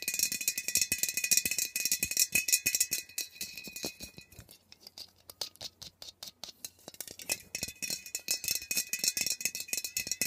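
A metal Glade refill aerosol air freshener can, about 15 cm tall and held upright, is tapped and scratched across its label by long nails. The result is a rapid, uneven run of dry, bright clicks and scrapes with a faint high ringing tone. The sound grows sparser and quieter midway, then becomes busy again at the end.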